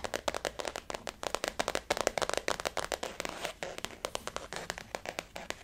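Long natural nails and fingertips tap the top and side of a closed, blue flower-printed faux leather zip wallet resting on a table. Dozens of quick, dry taps and clicks follow in an uneven rhythm, with a soft midrange tone and almost no ring or low end.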